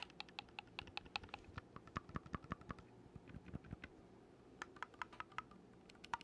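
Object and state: Oboe key clicks.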